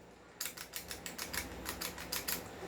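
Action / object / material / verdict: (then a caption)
shake / airsoft pistol outer barrel / metal / loose. A non-upgraded Hi-Capa 2011 airsoft pistol is shaken, and its loose outer barrel rattles in about twelve quick, bright clicks. The rattle is short and high-pitched, with little low end, showing the barrel is not held firmly.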